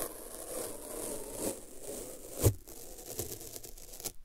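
A wide, translucent strip of thin white paper masking tape is held in both hands, folded so it sticks to itself, and then peeled apart with the fingers. A soft, steady crinkling and scraping hiss builds to one sharp, louder peel-crackle partway through. Quieter crinkles follow before the sound falls away at the end.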